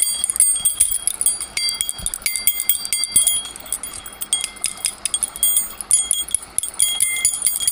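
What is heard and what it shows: A bundle of long, solid metal pieces on a split key ring is dangled and swung by the fingertips, so the pieces knock together. The result is a continuous stream of quick, overlapping chime-like clinks with bright, high ringing tones and almost no low end.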